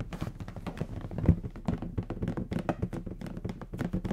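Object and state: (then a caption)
Latex balloon. A large, hollow, air-filled bronze metallic latex balloon is held in the hands and tapped with the fingertips. A quick, uneven run of soft, dull taps and low thunks follows, each dying away almost at once, with one louder thump near the middle.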